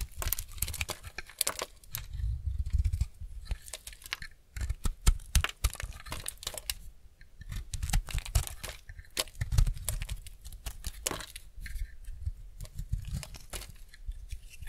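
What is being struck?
Bar soap scraped with a steel blade.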